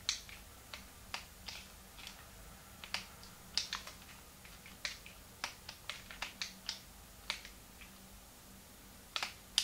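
A small, hollow, translucent pink plastic Game Boy Advance is held in both hands while thumbs and fingertips click its plastic buttons and shoulder triggers. About 21 sharp, bright, dry clicks come at uneven intervals over a faint steady background hum, each dying away almost instantly.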